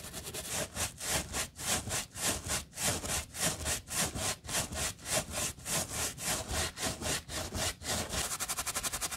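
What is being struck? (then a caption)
Mesh fabric sneaker upper scrubbed with a stiff bristle brush. A wooden-handled brush with stiff pale bristles, held in gloved hands, scrubs back and forth over the white knit mesh upper of a hollow sneaker resting on a towel, with little foam. The sound is a steady rhythm of bright, scratchy, hissing bristle strokes, each swelling and fading. Near the end the strokes turn into a quicker, shorter flutter.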